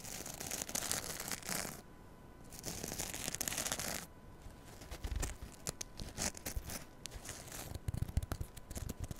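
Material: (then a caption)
Foam. Long nails scratch the green abrasive scrub side of a rectangular foam kitchen sponge held in front of a microphone. Bright, dry rasping comes in sustained bursts broken by short quiet gaps. The scratching then turns into quicker, choppier strokes with soft low thumps.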